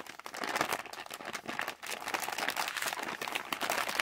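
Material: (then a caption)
Plastic. A yellow Halls plastic candy pouch is tapped and scratched with fingertips and crumpled in the hands. The result is a dense, continuous crinkling and crackling with sharp, bright snaps, almost no low end, and no ring after each sound.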